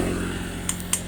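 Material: Steel.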